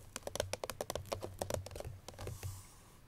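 Long pink natural nails tap across the lid of a small cardboard Chloé perfume box with spread fingers, making about sixteen quick, dry, clicky taps with a hollow low thump and a papery mid tone. The patter is quiet and close, with no ring after each tap, and it trails off into a faint soft hiss at the end.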